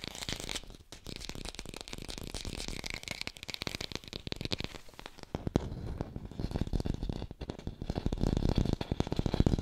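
An artificial plastic red apple is fast-tapped and recorded with a hi-fi mic, giving a dense stream of quick, dry clicks and taps that ring out almost instantly. The sound is mostly low and thumpy with some bright crinkly texture, and it grows slightly louder and fuller toward the end.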